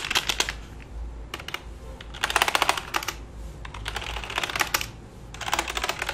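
A single finger taps and presses the keys of a black full-size plastic computer keyboard resting flat on a lap. Quick bursts of short, bright plastic clicks come in several clusters, separated by brief pauses filled with a low hum.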